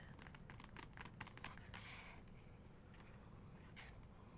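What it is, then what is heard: Glossy paper book page. Long nails tap and scratch across a printed photo on the glossy paper page of an open photography book. A quick run of light, crisp taps is broken by a longer, brighter scratching stroke, followed by a few sparse taps over a soft, low, steady background hum.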